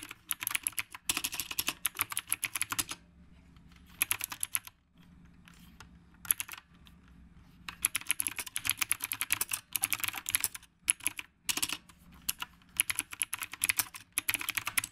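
Both hands type with their fingertips on the round plastic keycaps of a retro typewriter-style mechanical keyboard. Bursts of rapid, bright, sharp clicks are separated by short pauses of quiet, and each keystroke is crisp with almost no ring.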